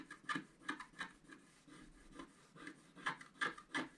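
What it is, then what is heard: Scratch-art card being scratched. A wooden stylus scratches fine strokes across a flat sheet of scratch-art paper held on a table, cutting through the black coating to the colored foil layer beneath. Short, dry scraping strokes come in quick, uneven bursts with a bright, papery rasp centered around 1.7 kHz, separated by a softer continuous scratching in the middle.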